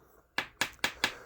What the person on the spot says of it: Aj keď poklepem, tak je počuť, že je to tvrdé, nie je to gumené.